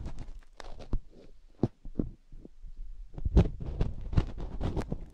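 A fingertip and nail dig into the ear canal of a single silicone binaural microphone ear and rub it. The result is a close, muffled series of deep thumps and rumbling rubs, with short scratchy bursts from the nail.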